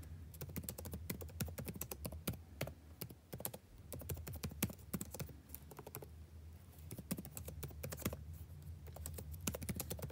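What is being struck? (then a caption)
Plastic chiclet laptop keyboard. Fingertips type on the plastic chiclet keys of a backlit laptop keyboard at a slightly slower pace, producing a steady stream of soft, bright clicks and taps. The same keyboard is heard throughout over a low, constant hum.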